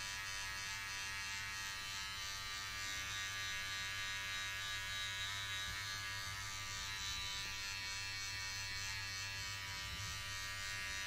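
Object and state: Nothing is struck.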